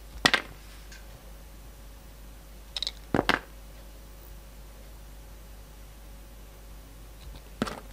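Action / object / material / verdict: scrape / bar of soap cut with a knife blade / soap / none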